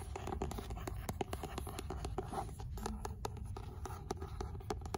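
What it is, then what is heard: Paperback book, tapped and scratched. Long nails rapidly tap and scratch the beige paper cover and spine of an old, solid paperback of 'L'imaginaire' held in the hand. The result is a dense run of quick, dry, muted clicks that stop short, mixed with soft papery scraping and a low rumbling undertone.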